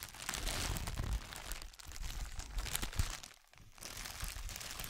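A long folded strip of clear, light, air-filled plastic bubble wrap is held in both hands close to the microphone and crinkled and squeezed with the fingertips. It makes a dense, continuous crackling crinkle with bright, crisp highs over a soft low rumble, dipping into a brief near-quiet pause before the crinkling resumes.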